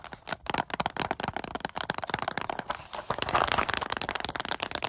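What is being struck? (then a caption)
Small paperboard snack carton. A small, hollow paperboard Goldfish cracker carton is held close and tapped and scratched with long acrylic nails, then gripped with the fingers. Rapid, dry, crackly clicks and scratches run throughout, with a hollow papery midrange tone and bright edges. The sound grows denser and louder past the midpoint.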